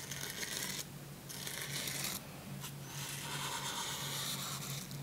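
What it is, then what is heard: Glossy paper book page brushed with a toothbrush. A plastic toothbrush's bristles are rubbed and brushed across a glossy printed paper page of an open hardcover children's book about dogs lying flat on a pink blanket. Bright, dry scratching swishes come in bursts with short quieter gaps between strokes, over a faint steady low hum.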